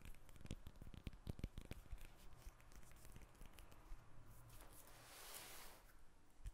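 Long nails tap and scratch the rind of a whole yellow lemon, held in the hands and then set on the table. Quick, crisp taps with a soft low thud cluster in the first two seconds, followed by crinkly scratching and a brighter, hissing scrape that swells near the end before a final tap.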